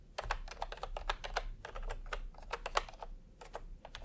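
Fingertips type on a full-size plastic typewriter-style computer keyboard with round retro keycaps in peach and cream, lying on a white cloth. A steady run of short, crisp clacking taps centers in the midrange and dies away instantly, over a faint low rumble.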